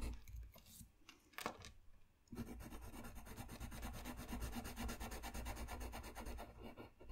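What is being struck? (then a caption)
Paper sheet rubbed with a pencil. A dark colored pencil rubs a flat white paper sheet lying on a desk, laying down dense coloring strokes near the lower edge of a drawing. After about two seconds of sparse, quieter strokes, the sound turns into a steady, fast, rhythmic scratchy rubbing that continues to the end.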